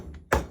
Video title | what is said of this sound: Yamaha R6 2004 : 👉 De la révision au circuit des 24h du Mans 🔥 | Jusqu'à temps que ça sonne plein.